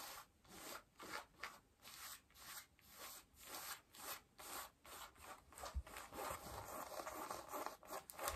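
Long nails scratch worn blue cotton denim jeans across the back pockets, the front and a raised knee. The result is a quiet, steady run of dry, rasping scratch strokes that swell and fade in a regular rhythm, with a bright, papery texture and little low end.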